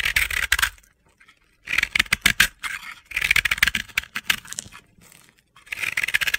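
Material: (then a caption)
Pressed powder. A palm-sized, yellow and pink ball of crumbly pressed powder, a bath bomb possibly sold as soap, is held in the hand and scraped and shaved with a metal utility-knife blade as powder falls off. Four bright, gritty scraping bursts, with crisp crunchy ticks centered around 1.6–2 kHz, are separated by short quiet pauses, with almost no low end.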